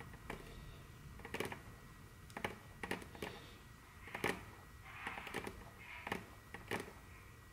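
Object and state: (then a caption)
Wooden tabletop tapped with fingernails. Very long, curved natural fingernails on both hands tap and click on a large, solid, dark brown glossy wooden tabletop. Sharp, dry clicks and taps come in irregular clusters, with a few brief scratchy swishes between them. Each sound dies away almost at once over a faint low background hum.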